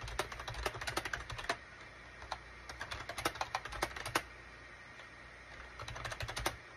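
A full-size gray SHIPADOO K600 wired USB keyboard, with a gray plastic case and cream, gray and orange plastic keycaps, is typed on rapidly with the fingertips of both hands. The sharp, bright plastic key clicks come in bursts, with short pauses between flurries. A steady low hum sits underneath.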